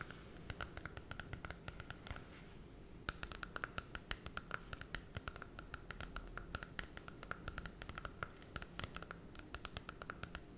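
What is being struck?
Glossy cardboard children's book.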